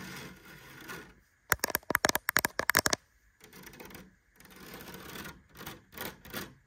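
Long nails scratch and tap across a thin woven rattan cane panel set in a light wooden cabinet door frame over a hollow cabinet. Soft, papery scratching gives way to a quick run of eleven sharp, bright clicking taps, then the dry scratching across the weave resumes with a few more light taps.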